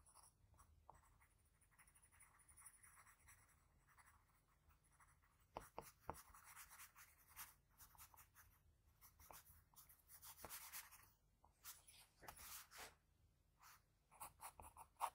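A graphite pencil tip makes short scratching strokes on a flat sheet of white drawing paper while shading around the nose and eye of a sketch. The result is quiet, dry, papery scratching in bursts of quick strokes with bright hiss, with a few sharper ticks around the six-second mark and denser strokes toward the end.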